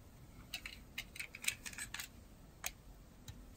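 A metal craft blade scrapes and carves curls off the edge of a solid, rectangular dry bar of blue-and-white striped soap held in the hand. About ten short, crisp, bright scraping crackles are heard, each dying away almost instantly, with the busiest cluster in the first two seconds. Underneath is a faint low rumble and a steady thin high tone.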